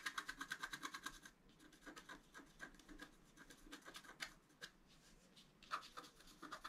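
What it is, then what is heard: Scratch art card being scratched. A wooden stylus makes fine scratch strokes across a flat black-coated scratch art paper card, etching a flower. Quick, dry, bright scratches come in a rapid rhythmic run at first, soften into lighter, scattered strokes, then pick up again with sharper scrapes near the end.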